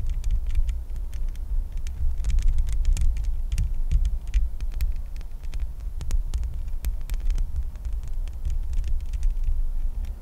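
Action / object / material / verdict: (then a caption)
scrape / metal mesh microphone grille / metal mesh / none. Long nails scratch and tap the bare, hollow metal mesh grille of a microphone. The sound is a deep, throbbing low rumble centered near 70 Hz, dotted with rapid, short, bright clicks and ticks that die away almost instantly.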